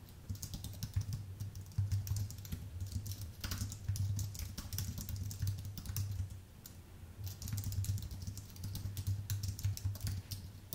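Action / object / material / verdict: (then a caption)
tap / aluminium and plastic computer keyboard / aluminium, plastic / none. Both hands type with their fingertips on a full-size white Apple Magic Keyboard, an aluminium base with plastic keys, producing rapid, light, bright clicks in steady bursts. A steady low hum runs underneath throughout, and the typing pauses briefly around the middle before resuming.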